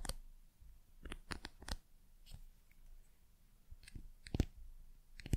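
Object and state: Wooden pencil.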